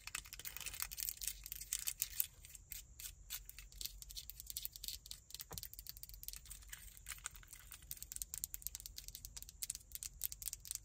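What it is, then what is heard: Plastic car key fob. Long acrylic nails tap and scratch the buttons and casing of a small, solid black plastic remote car key fob with a metal key ring attached, held in both hands. A quiet, rapid stream of dry, bright clicks and scratchy rasps sounds over a faint low rumble, each tap dying away almost at once.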